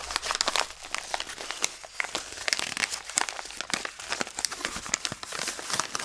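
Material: Paper.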